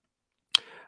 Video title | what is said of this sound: Time Out Watch Fair - this Friday and Saturday | You just probably heard it bang on the aluminum trim on this table